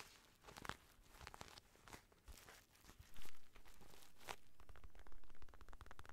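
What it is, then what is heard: Synthetic leather boxing glove. Fingertips and nails tap and scratch the surface of an empty black Everlast padded synthetic leather boxing glove close to the mic. Irregular crinkly scratches and soft taps come and go, with a brief louder swell of rubbing partway through and then a steadier scratching texture to the end.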